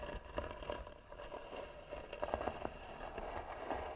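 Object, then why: Carved wooden box. Long nails scratch the lid of a hollow, tan carved wooden box with both hands. A steady, dry scraping runs throughout, broken by short, sharp clicks and ticks with a hollow, mid-pitched tone.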